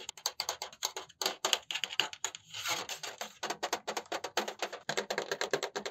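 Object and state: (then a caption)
Metal mesh laptop cooling pad. Fingertips rapidly tap and scratch the perforated metal mesh surface of a black dual-fan laptop cooling pad held upright. A dense run of short, bright, clicky taps with almost no ring is heard, broken midway by a brief stretch of continuous hissy scratching before the fast tapping resumes.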